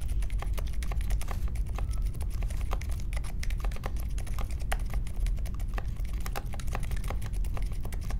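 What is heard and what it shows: Fingertips of both hands type steadily on a small 60% Polaris mechanical keyboard with a grey case, white, mint and pink plastic keycaps and Silent Alpaca linear switches, resting on a marble desk. The result is a continuous stream of soft, muffled keystrokes with brief, quickly fading bright ticks over a low, dull thump.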